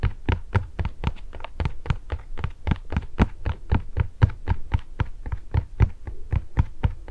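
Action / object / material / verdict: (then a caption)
tap / cardboard cookie box / cardboard / none. A small, red printed cardboard box of Anna's pepparkakor gingersnap cookies, hollow and probably full of cookies, is held by hand beside the microphone and tapped with long painted nails. About 28 quick, dull, low-pitched taps land at roughly two per second in a loose, uneven rhythm, each dying away almost instantly.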